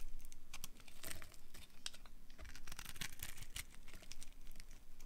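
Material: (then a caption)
Soap. A small metal knife blade carves and scrapes a hand-sized solid bar of dry pink-red striped soap held in the palm, cutting off thin crumbly slices. Repeated crisp, dry cutting strokes run together with scratchy crinkling and brief bright crackles. A low rumble sits steadily underneath.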